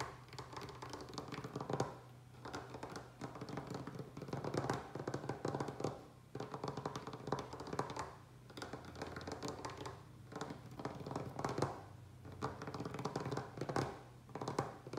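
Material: Wood.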